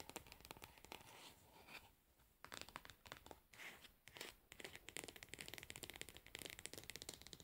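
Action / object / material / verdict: scrape / plastic cosmetic jar / plastic / none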